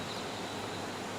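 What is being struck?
Nothing is struck.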